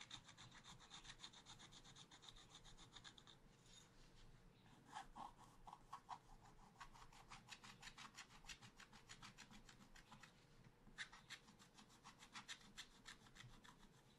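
A wooden stylus scratches away the black coating around a monkey drawing on a small spiral-bound pad of black-coated scratch paper lying flat. Rapid, short strokes make a steady run of dry, bright scratching that pauses briefly partway through and then resumes.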